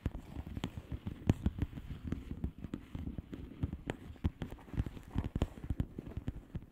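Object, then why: Plastic bubble wrap mailer. Long manicured nails tap rapidly on a flat plastic bubble wrap mailer with hollow air bubbles. The result is a quick, uneven patter of short, dry clicks with dull, low-weighted thumps that stop almost instantly, plus occasional sharper, brighter taps.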